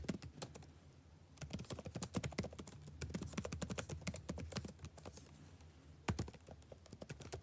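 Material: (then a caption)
Plastic. Fingertips type rapidly on a backlit laptop keyboard with black plastic chiclet keys and a blue backlight. Quick, short, clicky taps come in dense bursts with brief lulls, over a faint steady low hum.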